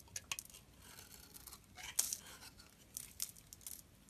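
A metal blade scrapes along the edge of a solid, dry yellow bar of soap with grooved sides, held upright, shaving off crumbly flakes. Quiet, bright, dry rasping scrapes come in short irregular bursts, with a slightly longer crackling scrape near the middle.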